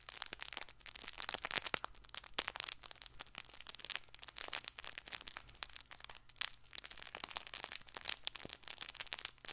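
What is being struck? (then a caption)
Stuffed fabric ball toy. Fingernails grip and scratch a stuffed fabric plush baby ball toy, its red dotted side facing up. The result is a dense, continuous run of bright, crinkly crackles and scratchy clicks, each snapping off instantly, over a faint steady low hum.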